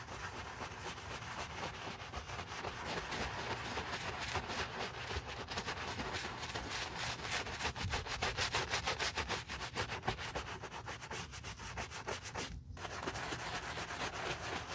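A wooden-handled bristle brush held in a gloved hand scrubs a hollow, empty brown leather work boot covered in cleaner foam, cleaning off dust. Rapid, steady back-and-forth rubbing strokes, about three per second, make a bright, hissy scratching texture with a soft low body. The scrubbing continues without a break except for a brief pause near the end.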